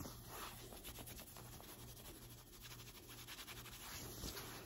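Long white acrylic nails and fingertips scratch and rub the sleeve and shoulder of a light blue cotton t-shirt being worn. The sound is a soft, continuous run of brushy, papery scratching strokes with a bright hiss, over a faint low hum.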